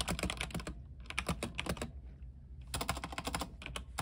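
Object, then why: Mechanical keyboard, plastic keycaps on aluminium frame. Two hands type fast with the fingertips on an RGB mechanical keyboard with white plastic keycaps on an aluminium frame. Quick bursts of sharp, bright clacks come in three runs with brief pauses between them, over a steady low hum.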